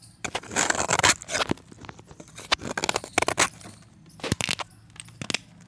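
A partially cut, solid pressed chalk disc is held in the fingers and shaved with a box-cutter blade. Dry, bright scraping and crackling strokes come in short bursts separated by brief pauses.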